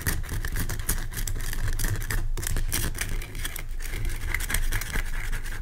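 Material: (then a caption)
Rock salt. Fingernails scratch the sides of a large, pale rock salt lamp made of solid, rough crystal. The result is a steady, dense scraping with a heavy low rumble underneath and quick bright, gritty streaks on top, with a brief dip in the scratching around the middle.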